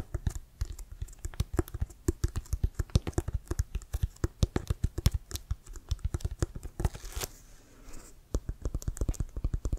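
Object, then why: Leather-covered American football. Fingernails tap and scratch the laces and pebbled surface of a brown Wilson leather-covered American football, hollow and inflated and held in both hands. Rapid, short, dull taps carry a deep hollow thump with crisp clicky edges, briefly giving way to a softer scratching passage near the end before the tapping resumes.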